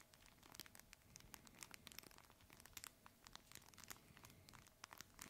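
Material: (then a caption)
Fabric. A red fabric plush crinkle toy, held horizontally in both hands, is squeezed and scratched with the fingertips. It makes a quiet, steady run of bright, dry crinkling crackles that stop almost instantly, over a faint low rustle.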